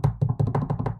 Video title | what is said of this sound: H3 IS BACK and Has Some 'Splaning To Do, Kaceytron's Ban, & Other Goofs (H3 Waiting Room) | Keeping my fingers crossed, and I'm knocking on wood. This is a real wood desk.